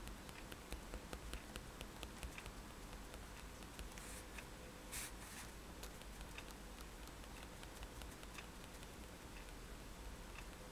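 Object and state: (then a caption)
Paper sketchbook sheet tapped with a pen tip. The metal tip of a fine-liner pen taps repeatedly on a white paper sketchbook page lying flat on a table, making stippled dots. The result is a steady patter of quiet, light ticks with brief bright clicks over a constant low hum.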